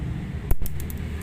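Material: Neodymium.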